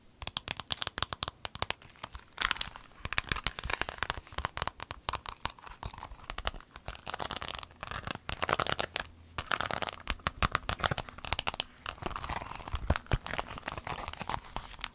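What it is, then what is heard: Clear vinyl pencil case. A rainbow clear vinyl pencil case, rolled up and then laid flat, is scratched with fingernails and crinkled by hand. Dense, bright crackling, scratching and crinkling comes in rapid bursts throughout, with short pauses between them.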